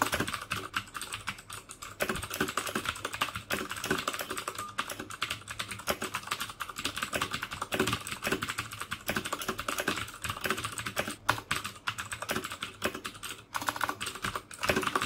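Fingertips type steadily on a black plastic mechanical keyboard with clicky Cherry MX Blue switches. The result is a rapid, continuous stream of sharp, bright clicks and clacks with very short decay, plus little low-end thump.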